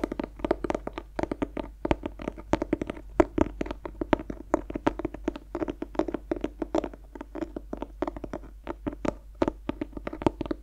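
Fingers scratch and tap the textured cloth cover of a closed black clothbound hardcover of Dorian Gray, held in both hands in front of the face. Rapid, dry, close taps land in a steady stream over about eleven seconds, each with a warm low-mid body and almost no ring, mixed with soft scratchy brushing.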